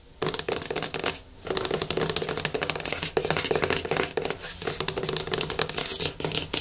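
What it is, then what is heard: Plastic jar. Fingertips and nails tap and scratch the side and lid of a medium yellow plastic hair mask jar resting on a wooden table. Rapid, dense bursts of short, bright plastic clicks and rasps come with almost no ring, and there is a brief quiet gap about a second in.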